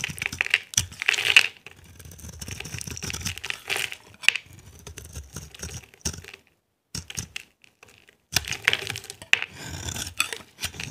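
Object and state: Dry soap bar being scraped.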